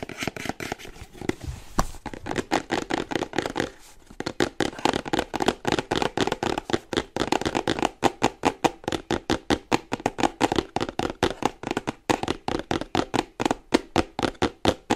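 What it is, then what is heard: Cardboard product box. Painted fingernails tap quickly on the front and sides of a small printed cardboard charger box held upright in both hands. About 65 short, dry, hollow clicks land in a steady rapid rhythm, mostly in the midrange with little low end, and there is a brief lull near the four-second mark.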